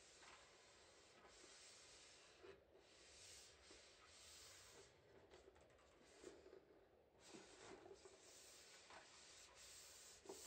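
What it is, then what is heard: Metal shortbread tin being rubbed. Gloved fingertips rub and stroke the plain metal base of a large, flat, rectangular tin-plate shortbread tin, hollow and full of shortbread, lying upside down on tissue paper. The result is a soft, steady, bright hiss of rubbing with faint scratchy swells and small bumps, quiet throughout with little low end.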